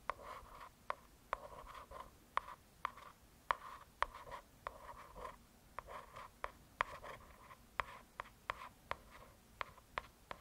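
Long pointed nails scratch and tap the glossy, solid cover of a hardcover paper "True Crime" book. Soft, dry scratching with a midrange rasp around 1 kHz runs between 19 sharp, quick taps that die away almost instantly. The overall sound is quiet and close.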